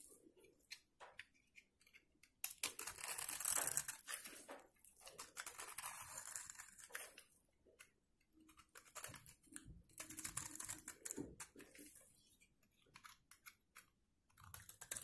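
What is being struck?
Soap bar.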